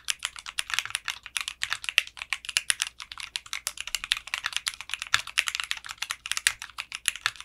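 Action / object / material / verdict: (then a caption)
tap / mechanical keyboard with plastic keycaps and case / plastic / none. A mechanical keyboard with clear pink polycarbonate keycaps and a translucent case is typed on with fingertips, producing a steady stream of fast, bright, short clicky keystrokes with almost no low end. The keystrokes come in uneven bursts, each decaying almost instantly.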